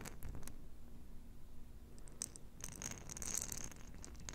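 Long nails tap and scratch a small, round, clear glass jar with a metal lid, filled with pink plastic beads. Quiet, bright ticks and scratchy rasps sit over a soft low rumble, with a cluster of sharper, brighter scrapes near the end.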